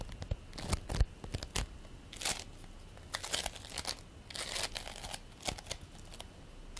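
A ball of purple and white polystyrene bead play foam is held in both hands while the palms and fingers squeeze and roll it. Irregular bursts of sticky crackling, crunching and tearing sounds rise and fall, reaching bright, hissy highs over a faint low rumble.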